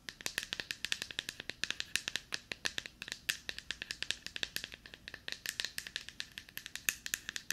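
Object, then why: Plastic deodorant stick. A small, hollow, light-blue plastic deodorant stick is moved around the microphone while long nails tap and scratch it. The result is a fast, steady stream of short, bright, dry clicks with almost no ring or low end, mixed with a faint scratchy rustle.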